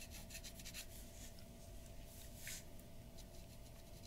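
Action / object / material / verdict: scrape / drawing paper scratched by a glass dip pen / paper / none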